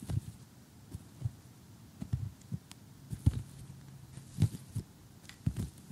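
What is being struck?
Assembled cardboard jigsaw puzzle on a table.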